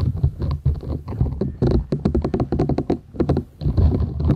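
Long nails scratch the short bristles of a flat, thin, solid purple silicone scrubber sponge held folded in both hands. The result is a dense patter of dry, scratchy rasps and quick bristly clicks over a soft, low rumble, with a brief run of sharper, separate flicks in the middle.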